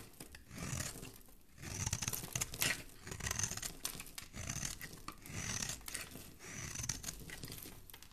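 A flat metal blade scrapes and shaves curls off a solid, palm-sized pink soap bar held in one hand with dark-painted nails. Repeated crisp, bright shaving strokes rise and fade in waves, with a dry, tearing, crinkly texture and a soft low rumble underneath.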